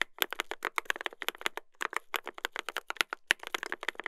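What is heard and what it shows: A mechanical keyboard with a brass plate and plastic keycaps is typed on continuously by two hands using their fingertips. A fast, irregular stream of short, bright clicky keystrokes follows, each dying away almost instantly, with little low-end thump.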